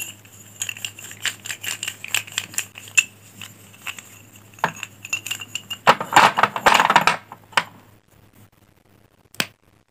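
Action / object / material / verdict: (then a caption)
scrape / bundle of chalk sticks / chalk / none. A handful of solid pink chalk sticks held in both hands is rolled and rubbed together by the fingers, with some sticks broken at the end. Quick, irregular dry knocks and clicks build into a dense scraping, crumbling burst before a quiet pause and one last sharp click, all over a faint steady low hum.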